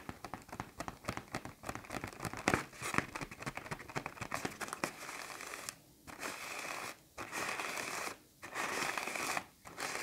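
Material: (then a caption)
Plastic film. A large black plastic trash bag, inflated into a taut hollow pillow, is tapped, squeezed and scratched across its glossy film by fingertips and nails. The first half is a dense run of crisp crinkles, pops and crackles. It then shifts to longer, steady bright scratching passages broken by short silent pauses.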